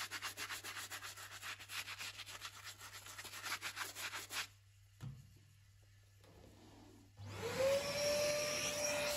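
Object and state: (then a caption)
Rubber sneaker sole being scrubbed. A stiff bristle brush scrubs hard at the foam-covered outsole of a salt-stained Louis Vuitton sneaker, a tan rubber sole with a checkered tread held upside down on the empty shoe. Rapid, steady, bright scratchy strokes run for about four and a half seconds, followed by a near-quiet pause with faint rustles. A louder, steady, hissing broadband noise with a faint tone rising to about 600 Hz then fills the last two seconds.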